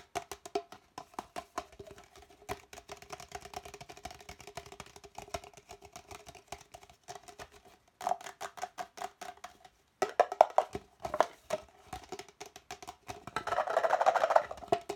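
An empty, hollow red plastic party cup, held sideways, is tapped and scratched on its outer wall with fingertips and nails. Fast, irregular, dry taps carry a hollow plastic tone near 650 Hz, with a brief silence just before the 10-second mark. Near the end, a denser, rougher scratching burst builds in the midrange.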